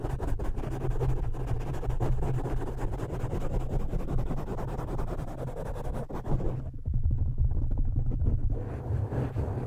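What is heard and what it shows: Fingertips of both hands scratch and squeeze a soft, porous black foam windscreen pulled partly over a studio microphone's metal grille. The result is a dense, muffled, bass-heavy rumble of rapid scratching with almost no high end. It eases briefly near the middle before swelling again into louder, deeper squeezing.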